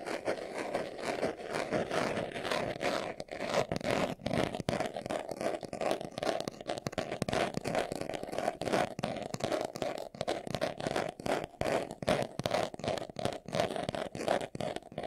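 Fingernails scratch quickly over a small, hollow brown pebbled-leather glasses case held in the hands. The result is a dense, continuous run of dry, crackly scratching bursts centered in the midrange, with a faint hollow resonance and brief dips between strokes.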